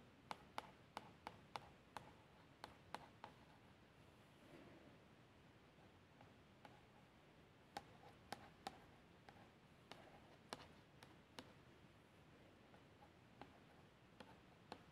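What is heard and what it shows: A long nail traces the label lettering on a plastic shower gel bottle that appears filled, making soft, quiet scratching strokes. Sharp, bright clicks and taps with a hollow tone around 855 Hz break through a low hiss and die away almost instantly.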